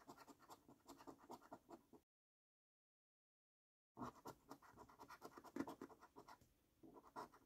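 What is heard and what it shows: A coin scratches the latex coating off the symbol boxes of a £15 Luxury Lines National Lottery scratch card, a flat, thin paper-cardboard card held by the fingertips. Quick, rasping scrapes come in rapid bursts, stop for about two seconds of silence, then resume with slightly louder, denser scratching.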